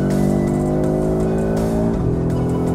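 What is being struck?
Nothing is struck.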